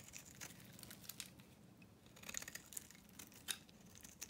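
A solid, dry blue-and-pink painted bar of soap is held in the hand and shaved with a metal knife blade, peeling off curls of soap. The result is a quiet, bright, crisp scraping and crackling with sharp little snaps over a faint low rustle.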